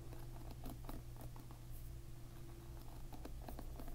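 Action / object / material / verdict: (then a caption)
flick / plastic-pin hairbrush / plastic / none. A plastic-pin hairbrush is held upside down while a finger strums its plastic pins from below. The result is a quiet, irregular patter of short, light ticks and clicks over a steady low hum.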